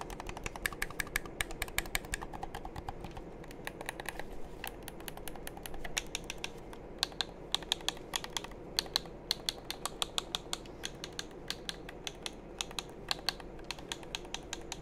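Fingertips and thumbs click the buttons of a hollow black plastic game controller in a steady run of quick, sharp taps. Each click is short and bright with almost no ring, over a faint low hum.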